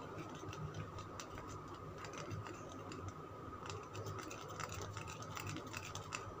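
Fingernails scratch and tap a solid green Lux soap bar held in the hand. The result is quiet, rapid, dry clicks and bright scratchy strokes over a steady low rumble and a faint tone near 1.2 kHz.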